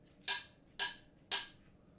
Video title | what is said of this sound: Immerse Yourself in the World of Stained Glass: Join ARTyRV's Glass Studio Livestream! | Do you hear the change? Hear the pitch?